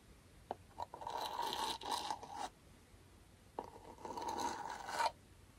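Comb teeth are dragged repeatedly across the surface of a small, round, closed aluminum beard balm tin held in the hand, in aggressive scratching strokes. Short ticks lead into two bursts of bright, gritty scraping, each carrying a steady metallic ring near 950 Hz, with a quiet pause between them.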